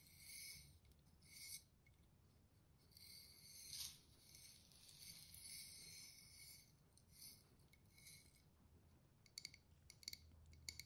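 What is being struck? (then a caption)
Glass jar with paper label and plastic lid. A Nescafé Clásico glass instant coffee jar with a black plastic lid and a paper label, hollow and partly filled with coffee granules, is held in both hands and tapped and scratched with long dark-painted fingernails on the glass and label. Soft, high-pitched scraping and rubbing swells come first, followed by a run of quick, bright clicking taps near the end.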